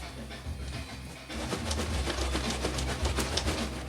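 A 12.5 lb cardboard box, 13 x 14.5 x 5 inches, holding an enameled cast iron casserole dish, is shaken so its contents can be heard. After about a second of quiet, the shaking produces a steady run of dull, low thumps and soft rattling shuffles as the heavy contents shift inside the box.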